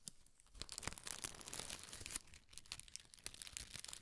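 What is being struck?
Tissue paper.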